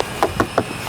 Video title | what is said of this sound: MOBIL DIESEL ANTI MAINSTREAM !!! - BMW 520D - Review - Indigo Auto Official | kalau diketok gini susah karena mobil Eropa tebel platnya